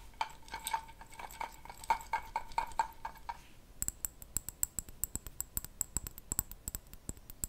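A glass jar is tapped and scratched with fingernails. The first half brings quick, clinking taps with a ringing tone near 900 Hz. The second half shifts to a rapid run of sharp, bright ticks pitched high.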